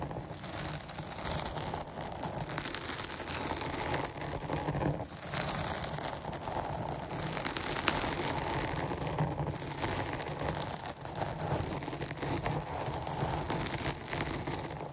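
Long nails scratch the sides of a dark foam microphone windscreen, making a steady, dense crackling rustle. The sound is broadband and textured, with a soft low rumble beneath the bright scratching. It stays close and continuous for the whole clip without a clear pause.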